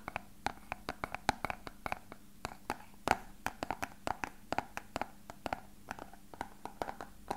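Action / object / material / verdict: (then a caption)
tap / small hollow plastic box / plastic / none. A small, hollow, translucent rectangular plastic box is held in the hands and tapped and scratched with fingertips and short nails. About 35 quick, separate clicky taps have a hollow knock around 770 Hz and bright tips that die away almost instantly. Faint scratching and a low steady hum sit underneath.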